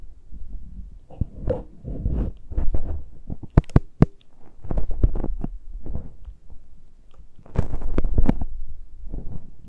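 Both hands scratch and pinch the uncovered metal capsule grilles of the microphones on a Tascam recorder with long nails. The result is a close, boomy run of low rumbling thumps and scratchy rubbing bursts, broken by a few sharp, bright clicks near the middle and end.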